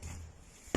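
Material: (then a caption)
Masonry. Two knocks on a smoke-evacuation feature in an abandoned building, probably a smoke duct or wall, that is empty inside. The first is soft and the second is a louder, deep, low thud with a brief hollow ring. The knocks show the structure is hollow.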